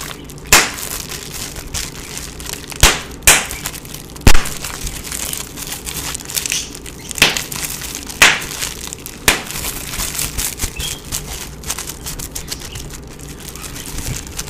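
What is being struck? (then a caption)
Plastic bubble wrap sheet. Fingertips pinch and pop the small air bubbles on a clear plastic bubble wrap sheet in front of the microphone. Several sharp, bright pops stand out over a steady stream of softer crinkling and crackling, with each pop fading almost instantly.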